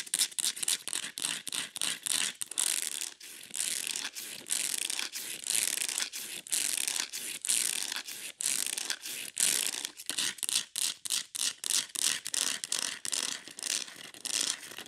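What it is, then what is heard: Plastic plant pot. Long nails rapidly scratch and tap the ridged sides of a ribbed beige plastic plant pot holding an aloe. The result is a fast stream of bright, hissy scraping bursts broken by short gaps, with almost no low end.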